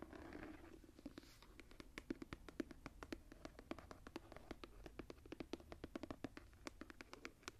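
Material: Leather.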